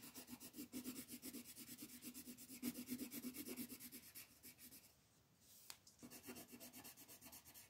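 An orange wooden colored pencil, gripped in a fist, scratches and rubs back and forth over a flat white paper coloring page lying on a table. The quick, steady strokes come about four per second, with a bright papery rasp over a faint low tone. Around the fifth second they fade to a soft hiss, broken by one sharp tick, then resume.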